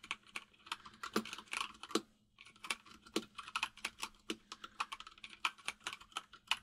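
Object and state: Mechanical keyboard with plastic keycaps.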